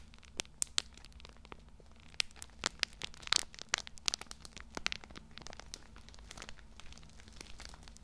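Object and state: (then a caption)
Plastic-wrapped tissue pack crinkled. Both hands grip a small, soft, full multipack of pocket tissues in thin plastic film, crinkling and rubbing the wrapper with their fingertips. The result is a steady stream of bright, dry crinkles and sharp crackling snaps that stop instantly, with a few louder pops near the middle, all over a faint low hum.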